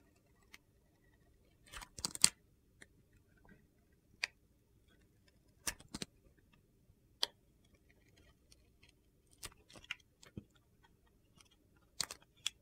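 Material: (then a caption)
Soap. A utility knife blade slices curls off a hand-sized solid soap bar with a green glitter coating and a white interior, held in a hand with red nails. About a dozen short, crisp, gritty scraping cuts sound, separated by quiet pauses. They are bright and dry with almost no low end.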